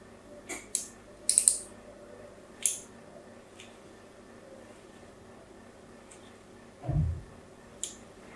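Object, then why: Bar of soap. A fine blade scratches lines into the embossed face of a new, solid pink soap bar held in the hand. Short, bright, crisp scraping strokes come in quick bursts over a faint background hiss, with a dull low thump near the end.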